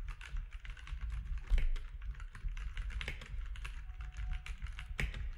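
A compact grey-and-white mechanical keyboard with plastic keycaps and orange accent keys, lying flat on a desk, is typed on with the fingertips of both hands. A steady run of quick, bright clacks rises over a deep low hum. A faint steady tone is also heard near the end.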